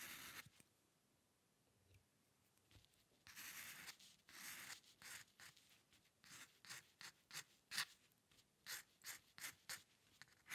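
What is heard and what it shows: The metal nib of a dip pen scratches across a flat sheet of white drawing paper, drawing hair lines. Longer, sustained scratches at first give way to quick, separate strokes, each a bright, dry rasp that stops at once with almost no low end.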